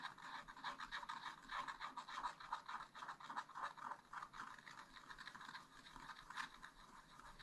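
A wooden stylus scratches a black wax-coated scratch-art sheet in a spiral-bound pad. Quiet, rapid, irregular scratching strokes follow one another continuously, with a dry rasp centred in the midrange and a faint bright hiss on top.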